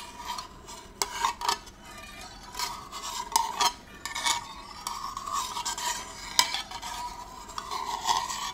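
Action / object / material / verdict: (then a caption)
scrape / small round metal candle tin with lid / thin metal / none. Fingers twist the lid on and off a small, round, hollow and empty gold metal candle tin and rub its rim. The result is a steady metallic scraping with a faint ringing tone near 1 kHz, broken by sharp, bright clicks that die away almost instantly.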